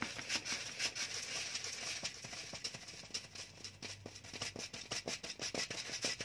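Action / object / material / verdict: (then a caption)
scrape / small cardboard box / cardboard / none. A small, hollow white rectangular cardboard box is held in one hand and scratched and rubbed with the fingernails of the other hand close to the microphone. The result is a steady, bright scratching texture of quick, dry strokes at about two per second, with almost no low end and very little ring after each stroke.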